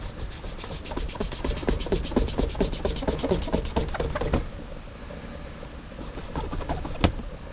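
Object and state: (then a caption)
Leather cowboy boot being buffed. A black cloth strip is pulled rapidly back and forth across the polished toe of a hollow, empty brown leather Lucchese cowboy boot resting on a rack, giving a shoe-shine rub. Quick rhythmic swishing, low-weighted strokes fill the first four seconds, then the rubbing drops to a quieter hiss with a few lighter strokes and one sharp snap near the end.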